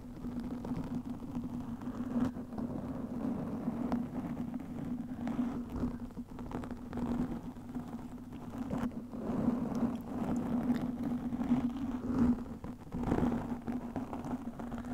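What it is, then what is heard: Foam microphone windscreen being scratched. Long nails scratch the sides of a black, soft porous foam windscreen over a microphone. The result is a steady, muffled, low scratching rumble with a constant hum-like tone throughout, swelling into slightly louder rasps at moments with little high-end content.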